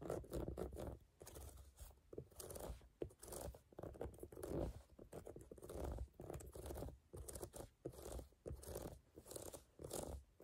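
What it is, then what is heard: Rubber sneaker outsole scratched. Fingertips and nails scratch the brown, ridged rubber tread of a sneaker outsole held up close. Quiet, crunchy scratching comes in repeated bursts with short pauses between, weighted toward low and mid tones, with brief brighter rasps.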